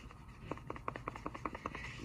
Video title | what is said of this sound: Mtech USA MX-8130 Tanto Knife. | you shake it just right you can get a little bit of rattle out of that that's the blade in there slapping against that plastic liner